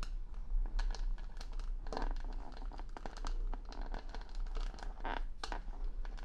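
Long nails scratch and tap over the plastic rhinestone stickers covering the back of a wooden hair brush. The result is a dense, continuous run of crinkly scratching with quick, sharp clicks and a bright edge, all over a steady low hum.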